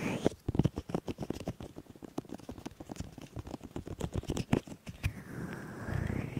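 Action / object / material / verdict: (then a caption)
scrape / silicone ear pieces of a binaural microphone / silicone / none. Fingertips of both hands rub both silicone ears of a 3Dio binaural microphone, making a dense run of soft, muffled thumps and scratchy rubbing that is mostly low and close. Near the end it settles into a steadier, continuous rustle with a faint tone that dips and rises.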